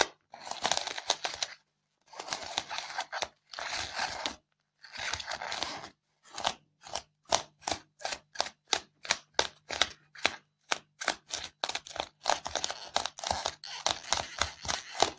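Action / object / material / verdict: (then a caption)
scrape / polystyrene foam block / polystyrene foam / none. Long fingernails vigorously scratch and dig into a white polystyrene foam block with loose foam beads on top. Bright, squeaky, crunchy scraping comes in several longer bursts, then in a run of quick, sharp strokes with short silences between them, and finally in dense scratching toward the end.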